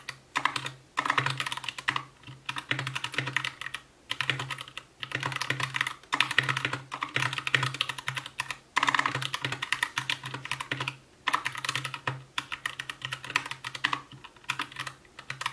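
Continuous two-handed fingertip typing on an Anne Pro 2 60% mechanical keyboard with white plastic keycaps, a translucent case, RGB backlight and Gateron brown switches. Rapid, bright plastic clacks come in dense bursts with brief pauses between them, and each keystroke decays almost instantly, over a faint low hum.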